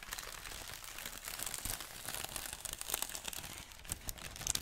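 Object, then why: Thin printed tissue paper sheet. A large, thin, unfolded sheet of tissue paper printed with the Daily Prophet design is stretched and crinkled between both hands. The result is a steady, bright rustling and crackling, with soft crunchy bursts and a few sharper crisp snaps near the end.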